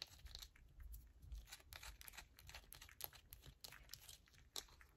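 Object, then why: Bar of soap. Long nails rapidly scratch a palm-sized solid yellow bar of soap held in both hands, sending shavings falling onto a purple mat. The result is a dense run of quick, dry, crackly scrapes and crunches with a bright, crisp top and a soft low rumble underneath.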